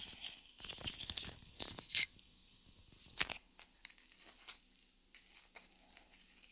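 Long nails scratch and tap the face and rim of a small, flat, solid round wooden coaster held in the hand. The quiet, dry, bright scratches and crisp clicks come in irregular bursts with almost no low end and no ring, with a few sharper taps standing out between softer scraping and pauses.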